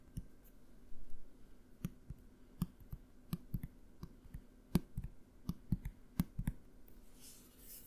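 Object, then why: Small plastic bottle with cap. A small opaque dark-blue plastic bottle with a cap is held in the hands and tapped with the fingernails. About fifteen short, dry clicks land at an uneven pace, each with a dull low body that dies away almost at once. The taps sit over a quiet background.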